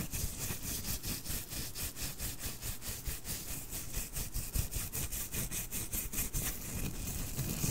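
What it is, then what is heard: Plush fabric toy being rubbed. Fingertips and nails rub the white fuzzy fabric surface of a small, soft plush snowman toy held near the microphone. The result is a steady run of quick, bright, scratchy brushing strokes, about two or three per second, over a constant low rumble.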